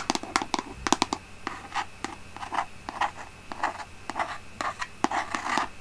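Long painted nails scratch and tap on the label of a large white plastic Aveeno lotion bottle with a pump, held in both hands. A rapid, uneven series of crisp clicks and short rasping scratches sounds close and dry, with bright edges and almost no ring, over a faint steady low hum.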